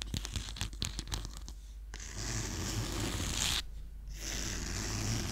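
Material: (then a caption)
Cloth. Fingertips and nails scratch the cloth cover of a small black-and-silver clothbound hardcover of The Picture of Dorian Gray with a peacock feather pattern, held solid and closed in one hand. Quick, irregular scratchy strokes come first, then a brief near-silence before a steady, bright, hissing scrape. The scrape pauses briefly and then resumes.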